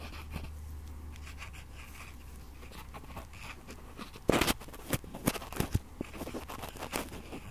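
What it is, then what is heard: Metal microphone grille being scraped. Cotton swabs are rubbed and scratched around the two metal mesh capsule grilles of a red Tascam-style stereo recorder. Over a steady low hum, soft, faint scratching fills the first four seconds. Then come louder, close-up bursts of crackling, crunching scrapes with sharp, bright peaks.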